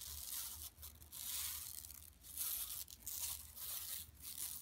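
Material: Woven plastic.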